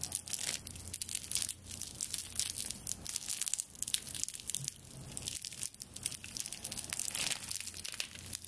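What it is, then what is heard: Straw broom bundle being scratched. Long nails scratch and grip the bound bundle of dry straw stalks that forms a straw broom's handle, rubbing the stalks against each other. The result is a dense, continuous bright crackling and crinkling of rapid dry snaps with a faint steady low hum underneath.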